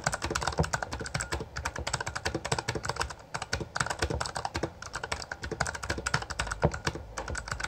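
A full-size backlit Bloody B820R mechanical keyboard with plastic keycaps is typed on rapidly with the fingertips of both hands. It produces a dense, steady stream of short, dry key clacks with a low-weighted thock and brighter click tops. The typing pauses briefly just past the three-second mark.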